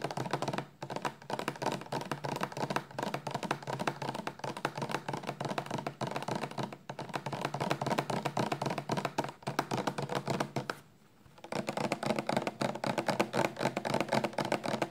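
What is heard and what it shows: A 400 mL clear plastic shampoo bottle, full of liquid and held sideways, is tapped quickly with long nails and fingertips. The steady stream of light, hollow clicks and soft thuds, mostly in the mid range, pauses briefly near the 11-second mark and then resumes at the same fast pace.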